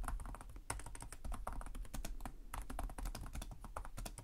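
Both hands type with their fingertips on the plastic chiclet keys of a black laptop keyboard. A fast, steady stream of light, bright key clicks and taps rides over a low, constant hum.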